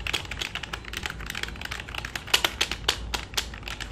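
Fingertips and short nails of both hands type and tap on the plastic keys of a black full-size computer keyboard resting on a lap. About two dozen quick, bright, dry clicks come in an irregular, fast rhythm, each dying away at once over a faint low background rumble.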